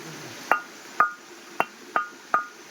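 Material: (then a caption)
Stone. A stone is hammered near one end, and each strike rings with a clear, metallic tone much like iron. Five separate sharp hits are heard, each with a short bright ring around 1.4 kHz that fades quickly.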